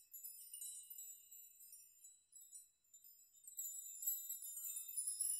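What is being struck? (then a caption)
Hanging metal nails. Hanging metal nails on a nail chime are rocked by hand so the strands swing and the nails strike each other. The result is a quiet, continuous tinkling of many overlapping, very high, bright metallic pings with short rings and no low end. The jingling swells louder in the second half.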